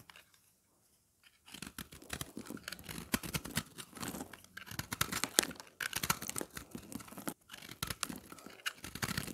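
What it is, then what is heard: Dry recycled soap bar. A round, solid puck of dry, pressed, multicolored recycled soap is held in hand and shaved and scraped with a black utility knife blade, producing crumbly shavings. After about a second and a half of near silence, dense, dry, crunchy scraping begins and continues in rapid, bright, rasping strokes, with a brief pause near the seven-second mark before the shaving resumes.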